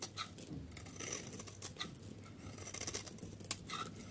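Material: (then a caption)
Soap. A metal utility blade shaves the corner of a solid yellow dry soap bar held in hand and cuts off chunks. It makes quiet, dry scraping and crisp crackling with bright, sharp snaps as pieces break away, the loudest snap near the end.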